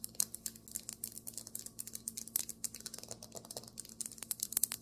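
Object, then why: Marble table top. Fingernails tap rapidly on a marble table top, about thirty quick, dry, bright clicks that stop almost instantly with no ring. A faint, steady low hum runs underneath.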